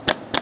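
Two sharp metallic knocks come from a worn intermediate steering shaft, tapped from under a Nissan Almera, each a short bright clack that dies away quickly. The knocking marks the steering shaft as faulty.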